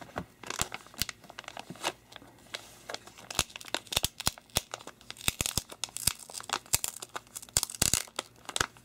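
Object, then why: Thin clear polypropylene comic sleeve. An empty, flat, thin clear polypropylene comic book sleeve, about comic size, is held and smoothed by bare fingertips and palm while other comics lie still nearby. It gives a steady run of bright, crisp crinkles and soft rubbing, with many quick sharp crackles scattered throughout. The sound is mostly high and papery, with little low end.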